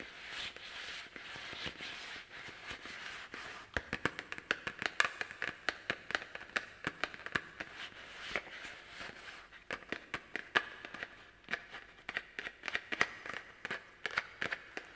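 A small hollow orange plastic toy pumpkin is held up and tapped and scratched with the long black plastic claws of garden gloves. It opens with a soft, hissy scratching, then breaks into dozens of sharp, dry, bright clicks and taps that stop almost instantly, with brief scratchy bursts between them.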